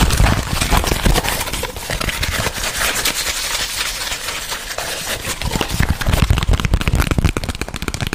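A flat white cardboard box sleeve, held in both hands near the microphone, is tapped and scratched quickly with fingertips and nails. The result is a dense stream of fast, dry taps with low thuds and a crackly, papery scratching on top. It is louder at the start and again toward the end.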